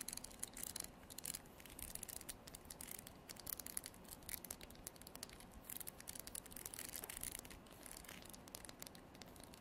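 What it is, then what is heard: Wooden comb. A wooden comb held horizontally in both hands has its teeth flicked and strummed with artificial nails. The result is a quiet, steady stream of rapid, crisp, bright ticks and plucks with a faint scratchy texture.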